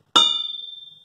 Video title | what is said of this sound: Checking an Engine Crankshaft - Mopar 5.9L Magnum Daily Driver Engine Part 2 | it makes this ringing sound you can hear it continue to ring if it sounds dull or flat like the ring doesn't continue then it likely has a crack in it